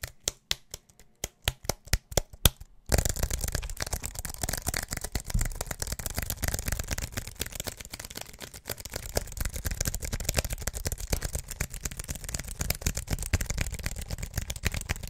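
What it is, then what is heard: Aluminium and plastic wireless keyboard. A slim aluminium and plastic wireless keyboard is held in both hands while fingertips and nails tap and click its keys. Sparse, sharp, separate clicks in the first few seconds give way to a dense, continuous flurry of fast tapping. The sound is dry and short-lived, with a low thump under bright clicky edges.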